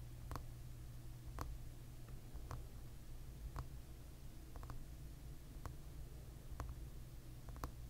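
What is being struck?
Plastic hairbrush back.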